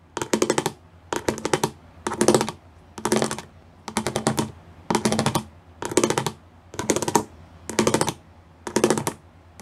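Fingertips and nails tap quickly across the studs of a gray plastic studded sheet in ten short bursts separated by brief pauses. Each burst is a rapid patter of crisp, bright plastic clicks that die away almost instantly, much like fast typing.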